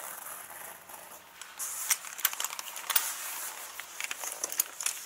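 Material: Leather.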